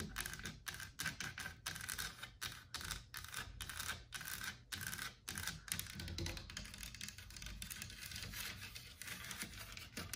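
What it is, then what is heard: Solid carved wooden wall panel. Long black nails scratch and tap across the leaf carvings and lower rail of a solid, white-painted carved wooden wall panel. Quick, dry taps mix with bright, brushing scratches in short bursts separated by brief pauses.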